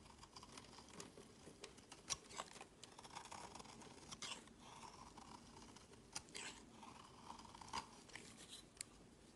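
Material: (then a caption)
Soap. A utility knife blade shaves many thin, curling flakes from a solid pink bar of soap held in the hand. The result is soft, continuous dry scraping and carving with bright, crisp edges, broken by occasional sharper clicks and scratches as the blade bites in.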